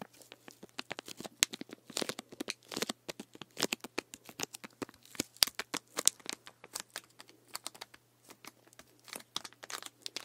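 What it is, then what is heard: Plastic drink bottle. Fingertips and nails scratch and tap the label and ridged plastic body of a full plastic sports drink bottle of green drink with an orange cap, tilted close by. Dense, irregular bursts of bright, dry crinkling and tapping crackle in quick succession, each dying away instantly over a faint steady low hum.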